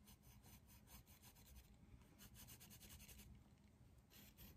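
A hand shades a leaf drawing with a dark green colored pencil in quick strokes on a flat white textured paper sheet resting on a drawing pad on a desk. Soft, rasping scratches of pencil on paper repeat in a steady, quiet rhythm, with brighter bursts on each stroke over a low, muffled rumble.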